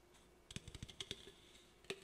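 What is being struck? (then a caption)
Aluminum drink can. Fingernails tap and scratch the body of an aluminum Olipop drink can held up close. About eight quick, bright metallic clicks with a ringing tone near 3.6 kHz die away almost instantly, separated by faint scratching over a quiet background.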